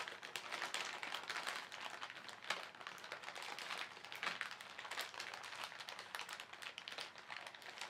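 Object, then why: Thin plastic shopping bag. Fingertips scrunch and crinkle the surface of a thin, soft, hollow white printed polyethylene shopping bag holding paint supplies, with a clear inner bag nearby. The result is a steady run of dense, dry crackles and rustles, bright and high with almost no low end. Each snap dies away quickly.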